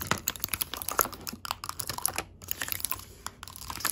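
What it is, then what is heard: Metal tea tins with clear window lids. Long pink acrylic nail tips tap on the clear window lids of small round gold metal tea tins filled with loose tea. A quick, uneven run of short, crisp clicks and ticks sounds bright and dry, with almost no ring after each tap and a brief pause near the middle.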